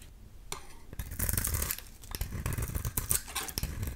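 A solid oval bar of soap, painted black with a green interior and held in the hand, is shaved with a utility knife blade. It makes crisp, uneven scraping and cutting strokes with crackly, crunchy detail. A denser run of shaving comes near the middle, then irregular quick scrapes follow.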